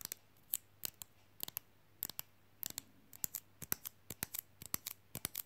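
Long fingernails quickly tap a small, flat, glossy, rigid rectangular fridge magnet printed with "I like big books" while it is held up. About 26 sharp, bright clicks come in an irregular rapid run, each dying instantly with no ring. A faint low hum sits underneath.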